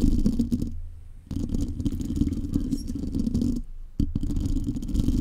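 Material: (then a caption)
Metal mesh. Long nails scratch a metal mesh microphone grille with a foam cover, making dense, low, rumbling scratching and rustling. The scratching comes in steady bursts, with brief quieter pauses just after the first second and again near the end.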